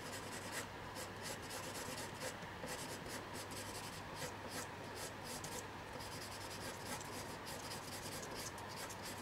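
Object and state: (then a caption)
Colored pencil drawing on paper. A blue colored pencil draws short strokes near the bottom edge of a single thin sheet of white paper that lies flat on a table and is held down by a hand. Its tip scratches across the paper with a quiet, steady, dry rasp, with faint bright flicks of grit over a low, constant hum.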